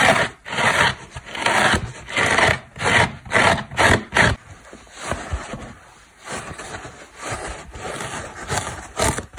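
A dry orange foam car sponge, a solid porous block with a cotton cord, is scratched with long black nails and pressed by the fingers. Loud, rough, broadband scraping strokes come in quick bursts for the first four seconds, then give way to quieter, softer rubbing and crackling squeezes with a bright, airy texture.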